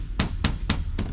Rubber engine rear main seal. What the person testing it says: actually sounds like plastic now